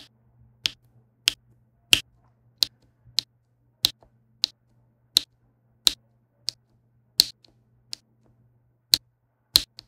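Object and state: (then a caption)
Resin diamond painting drills tapped onto canvas. A plastic pen with a pink wax tip taps and presses small resin rhinestone drills into place, row by row, on a flat adhesive diamond painting canvas. Fourteen sharp, bright clicks sound at a steady, unhurried pace, each dying away almost at once. A faint low hum sits underneath.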